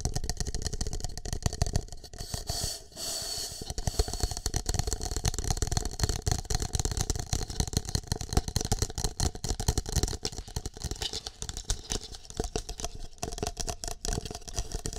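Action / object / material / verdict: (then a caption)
tap / plastic cup / plastic / none. An empty green plastic cup with a shamrock print is held against the microphone while fingertips and nails tap and scratch it. The result is a dense, irregular stream of rapid hollow taps and scratchy rattling, heavy in low boomy rumble with bright crackle on top, easing briefly near the three-second mark.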